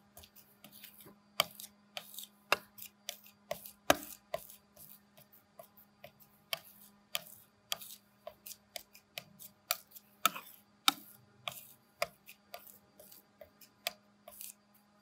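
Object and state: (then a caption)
Palette knife working printing ink on a glass slab. A metal palette knife scrapes and mixes a thick pool of black printing ink across a large flat glass inking slab on a table. A rapid, uneven series of short, bright, sticky taps and scrapes rises over a faint steady low hum.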